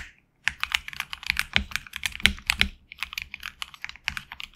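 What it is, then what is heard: Mechanical keyboard with PBT keycaps. A HyperX Alloy Origins Core mechanical keyboard with HX Red switches and backlit black and red PBT keycaps is typed on with the fingertips. After a brief silence, a quick run of crisp, bright keystroke clacks follows, centered around 2.2 kHz with little low end, each tap dying away almost instantly.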